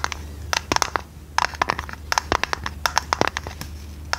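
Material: Tinplate.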